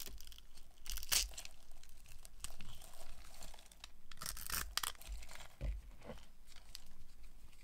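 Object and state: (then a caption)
Dry soap bar being carved. A utility knife blade carves a solid, hand-sized light blue bar of dry soap held in the hand, cutting it into crumbs and small cubes. Dry, crunchy scraping and crisp tearing cuts come in irregular bursts, with bright, high crackles over a soft low rumble, as the crumbling pieces break away.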